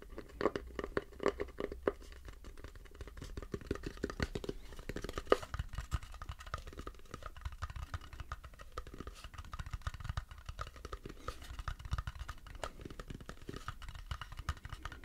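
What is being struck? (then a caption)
Turned wooden bowl. Fingertips and nails tap and scratch the base of a light-colored, turned wooden bowl that is empty and hollow, held with its underside up. The result is a quiet, continuous stream of dry scratching and soft, hollow taps with a low, woody body and a faint tone near 410 Hz. Each tap dies away almost instantly.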